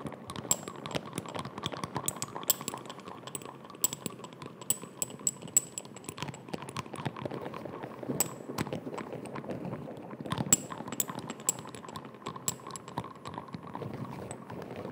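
A small amber (brown) glass dropper bottle with a white cap is held close to the microphone while fingertips and nails tap and scratch along the bottle and cap. Quick, sharp clicks with a thin, high glassy ring sit over a steady low scratching rustle. The tapping stays busy and irregular throughout.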